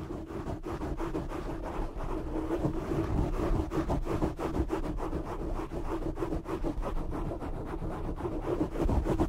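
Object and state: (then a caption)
Foam microphone windscreen being scratched. Short fingernails and fingertips of both hands scratch and rub a black foam windscreen over a large desk microphone. The result is a dense, muffled, rumbling scratching with rapid uneven strokes, about three per second, that stays heavy in the lows and dull in the highs throughout.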